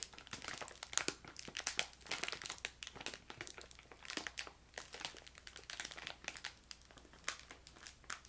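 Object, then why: Plastic candy bag. A filled yellow crinkly plastic bag of ginger candy is crinkled and squeezed with fingertips and long nails while being moved side to side. The result is a steady stream of quiet, bright crackles and rustles with sharp snaps, almost no low end and no ring after each crinkle.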